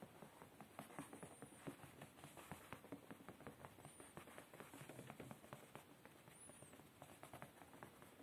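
Fingertips and short nails tap and scratch quickly on a padded beige woven fabric chair seat. The result is a quiet, steady patter of soft, muffled taps mixed with dry scratching, each tap dying away almost instantly.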